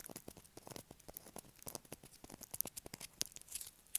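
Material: Soap.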